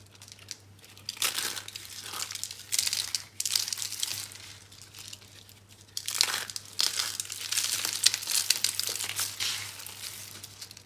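Bare fingers crush and rub dry, brown-pink recycled soap curls and crumbs on a green surface. Bright, dry crunching and crinkling come in dense bursts of tiny crackles that swell and fade, over a faint steady low hum.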